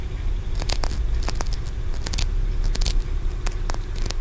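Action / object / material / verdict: tap / small carved aventurine stone pagoda / aventurine stone / none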